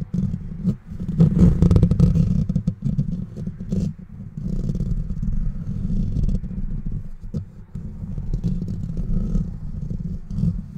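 Fingertips and short nails scratch quickly with both hands across the bare metal wire-mesh grille of a handheld-size microphone with a hollow rounded head and no foam cover. The result is a dense, fast, irregular scraping and rustling that booms low and muffled, centred near 172 Hz, with almost no high content. It runs nearly continuously for about eleven seconds, with only brief dips in level.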